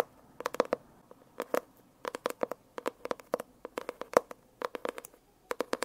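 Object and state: Holographic foil-covered hardcover notebook.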